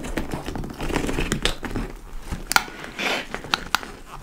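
Long nails tap and scratch the top panel and laced front of a large, hollow, dark-brown leather tote bag, possibly faux leather. Dry, crinkly scratching rustles steadily, broken by a few sharp, bright taps that stop quickly.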